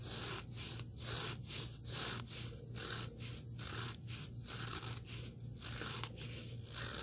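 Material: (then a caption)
Abrasive foam. Fingertips scratch and rub the abrasive surface and edge of a small, solid black sanding sponge block. The result is a steady, uneven run of dry, bright scraping strokes with a low, constant hum underneath.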